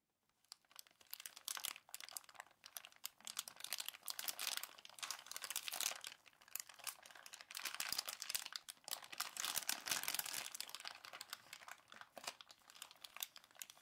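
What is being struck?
Plastic bag filled with kinetic sand.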